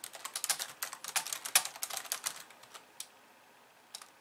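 Long painted nails type and tap on the white keys of a hollow, pink-framed plastic computer keyboard resting on a wooden desk. Bright, crisp clicks come in a rapid, uneven flurry for about two and a half seconds, then thin out to a few scattered taps. Each click dies away almost at once, with no low thud beneath.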